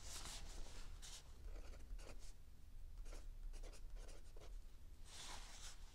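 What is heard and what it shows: A mechanical pencil tip writes continuously on the lined paper of a spiral notebook resting on a wooden table. Quiet, bright scratching strokes come in short bursts over a steady low hum.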